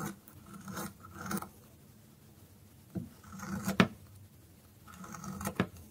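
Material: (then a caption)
Soap. A metal blade whittles and scrapes the pointed end of a thin, solid, dry orange soap stick held in the hand. It makes dry, rasping scrapes in short bursts, with quiet gaps between and a few sharp, crisp snaps as shavings come away.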